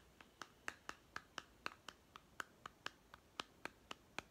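Seventeen sharp, dry fingernail taps and scratches on a small hollow plastic toy food tin with a printed blue label, held close in both hands. Each tap is a crisp click centered around 1.2 kHz with bright, high edges. The clicks fall in a steady, even rhythm and die away almost instantly, with no ring.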